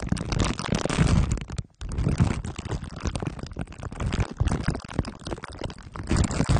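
Glue stick tips are dabbed and rubbed on the sides and top of a microphone head wrapped in crumpled aluminium foil under clear plastic wrap. The result is a dense, close, low-heavy stream of sticky, crinkling rubs and taps, broken only by a brief near-silent pause just before the two-second mark.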